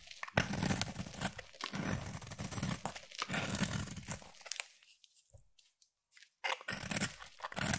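A utility knife blade scrapes and shaves the surface of a solid pink round bar of soap, making dense, crunchy, tearing strokes with a bright, crumbly edge. The shaving runs steadily for about four and a half seconds, fades to near silence for roughly a second and a half, then resumes in sharp bursts to the end.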